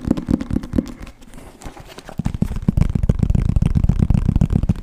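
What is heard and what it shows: Fingertips and nails tap fast on the cover of a solid green hardcover book with gold lettering, held upright, with some scratching on the cover. The taps are dull, low thuds with almost no high end; a few spaced taps give way to a softer stretch of scratching, then a quicker, denser run of taps.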